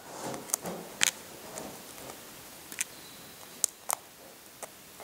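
Fingertips and short nails scratch and pick at the shell of a hard-boiled brown egg, chipping it at one spot. Soft scraping is broken by sharp, bright clicks and ticks that die away almost instantly, with around eight distinct hits standing out.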